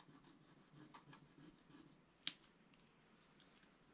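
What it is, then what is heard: Scratch-art paper card being scratched. A wooden stylus scratches across a flat, coated scratch-art paper sheet. Soft, dry rasping strokes repeat quietly, and midway one sharp, bright tick stands out before the light scratching continues.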